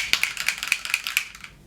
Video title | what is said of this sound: FULL FACE OF NEW MAKEUP TESTED - FULL FACE FIRST IMPRESSIONS DRUGSTORE + HIGH END! | shake it with the top on and you can hear there's like something in there